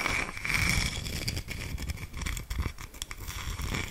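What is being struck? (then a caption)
Wooden slice coaster. A round, flat, palm-sized solid wood slice coaster is held up and scratched across its cut face with long nails. The result is a continuous dry, crackly scraping with bright, sharp grain clicks over a soft low rumble, swelling and dipping with each stroke.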